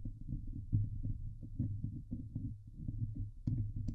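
Long nails scratch the hollow steel mesh dome grille of a Blue Yeti microphone, producing a dense run of low, muffled, thumping scrapes centered around 105 Hz that die away quickly. A few sharper, brighter scratches stand out near the end.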